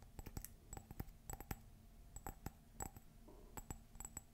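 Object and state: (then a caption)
Ceramic coffee mug. Fingernails tap quickly on a hollow, empty white glossy ceramic coffee mug printed with "Meet me under the Mistletoe," held up close. Each tap is a sharp, bright click with a short ring that dies away almost at once, over a faint low hum.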